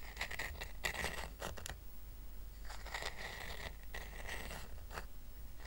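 A small, round, flat woven rattan coaster is held up in one hand while fingernails scratch across its woven surface. The result is bursts of dry, bright, raspy scratching that come and go over a steady low hum.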